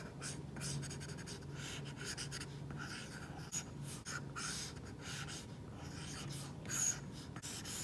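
A plastic stylus tip makes coloring strokes across an iPad glass screen covered with a matte plastic screen protector on a flat, solid surface. The result is a steady, dry scratching rub with a bright, hissy edge over a low hum, broken by brief dips where the tip lifts.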